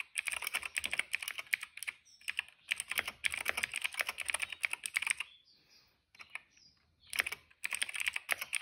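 Fingertips type fast on a cream plastic retro mechanical keyboard with plastic keycaps and a hollow case. Rapid, bright, clacky keystrokes come in dense bursts with short pauses, centered around 2.2 kHz with almost no low end. Each press is dry and short, with a longer near-silent gap in the middle before the typing resumes.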